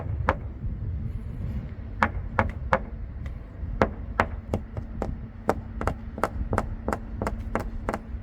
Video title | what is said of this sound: 외국인 관광객 이용해 골치거리 처리하는 일본 | 안이 텅 빈 소리가 납니다.